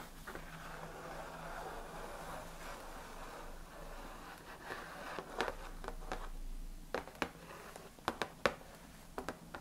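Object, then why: Closed cardboard box filled with tea packets. Fingernails scratch and tap the lid top of a large, closed, printed cardboard Ahmad Tea gift box filled with tea packets and resting on a lap. A steady, papery midrange scratching fills the first half, then gives way to a series of sharp, dry taps with almost no ring, mixed with lighter scraping and a faint low hum underneath.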